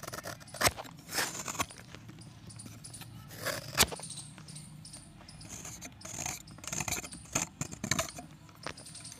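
A box-cutter blade shaves a solid pressed chalk disc, peeling long flakes off into a pan full of chalk chips. Bright, dry scraping strokes come at an uneven pace, with sharp crackling snaps at the loudest moments and a soft rustle in between.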